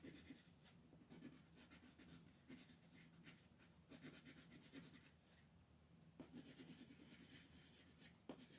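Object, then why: Colored pencil on a thin paper sheet. A teal colored pencil makes short scratching strokes along the outer border of a thin mandala coloring sheet. The result is a quiet, steady run of dry, papery scratches, each a brief burst of bright hiss over a soft low rumble, with a few sharper strokes standing out near the end.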